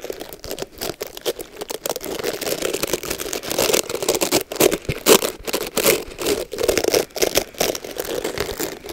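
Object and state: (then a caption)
Boar and nylon bristle hair brush being scratched. Long nails rake and scratch through the bristles of a black oval Mason Pearson boar and nylon bristle hair brush with a red cushion, held close to the microphone, to clean out hair. Dense, rapid crackling scratches with bright, crisp edges and a midrange rasp around 450 Hz come in uneven bursts with brief gaps.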